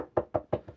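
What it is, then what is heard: PC case panel with sound-deadening lining, dull dead knock. Four dull knocks land on the side panel of a desktop PC case lined with sound-deadening material, the last one softer. Each knock is a short, muffled midrange thud with almost no low or high content and a near-instant decay. The dead sound shows the damping is working.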